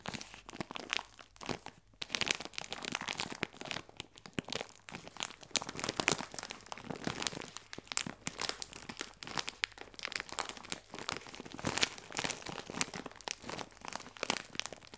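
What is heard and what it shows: Fingernails scratch and tap on the clear plastic film of a bag full of biscuits, producing a steady stream of quiet, bright crinkling and crackling. The sharp, dry ticks and rustles follow one another without pause, with almost no low end or lingering ring.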